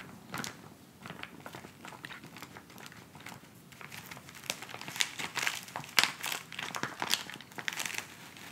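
Fingertips and nails scratch and crinkle a filled white plastic instant cold pack pouch resting on fabric. Soft, dry crinkling and bright, crackly scratches come in many short bursts that grow louder and sharper in the second half, with almost no low end.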